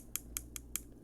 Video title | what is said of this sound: Cold Steel 4 Max Scout Pocket Clip Fix - Monday Modern Madness | when I tap on the clip you hear that sound there's just a tiniest Gap right there between the clip and the scale